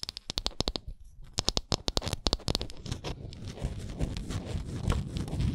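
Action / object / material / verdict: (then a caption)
scrape / small wooden ornament / wood / none. Long nails scratch and tap the stepped wooden edges of a small, solid, printed wooden Canada souvenir ornament. A quick run of sharp, bright clicks comes first, then settles into a steady, rough scratching with a low rumbling body.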